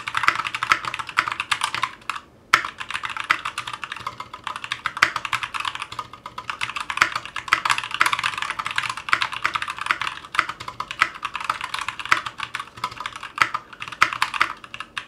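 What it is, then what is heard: Mechanical keyboard with ABS keycaps. A 60% Clueboard mechanical keyboard with Zealios V2 62g switches, a metal case, and GMK ABS plastic keycaps rests on a cutting mat and is typed on with the fingertips of both hands. It gives a continuous stream of crisp, bright clacks centred around 1.3 kHz, each dying away almost instantly, with a brief pause just after two seconds. The typing is steady and dense throughout.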